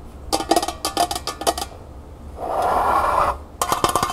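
Long nails scratch and tap the outer wall of a small, hollow, empty copper-colored metal pail standing upright on a table. Quick bursts of bright, raspy taps with a short metallic ring alternate with a steadier mid-range scraping rub in the middle of the clip, then the rapid tapping returns.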